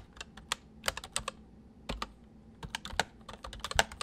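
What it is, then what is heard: Plastic mechanical keyboard being typed on. Fingertips of both hands type on a white full-size MSI plastic mechanical keyboard with hollow keys. About seventeen sharp, hollow clacks fall in an uneven rhythm, some in quick bursts. Each bright keystroke dies away almost instantly over a faint low hum.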